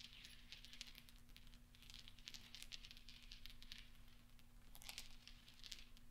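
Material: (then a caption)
Steel. Fingertips stir and roll small solid steel pachinko balls resting on velvet, producing a continuous stream of quiet, bright metallic clinks and rattles. The clinks come in dense, overlapping clusters with very short ring, over a faint steady low hum.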